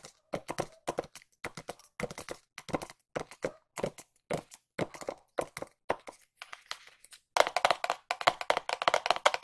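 A small white cardboard watch box, held in both hands, is tapped with long nails in quick clusters of dry, hollow clicks with almost no ring. The taps come in short bursts with brief pauses between them. In the last couple of seconds they turn louder and brighter.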